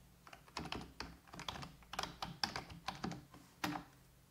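Fingertips with long red-painted nails type on a full-size black plastic computer keyboard resting on a wooden desk. A quick run of light, bright key taps and clicks comes in small irregular bursts, each dying away almost instantly over a faint low hum.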